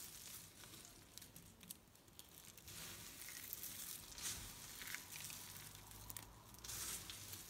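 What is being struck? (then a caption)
Pile of soap shavings. A pile of dry pink, white and green soap shavings on a table is crumbled between fingertips and pressed with flat hands. The result is a quiet, continuous, irregular crinkling crunch, mostly bright and hissy, with faint low rumbles underneath.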